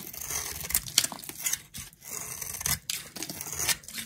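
A flat metal blade scrapes and carves thin flakes off the surface of a solid, palm-sized round bar of dry pink soap held in a hand with long nails. Bright, dry scraping and crisp flaking strokes come in quick succession, with brief pauses between passes.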